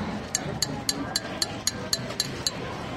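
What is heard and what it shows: An empty glass bottle is tapped nine times at a steady pace, each tap a short, bright clink that rings high and dies away almost at once. A faint low background murmur continues underneath.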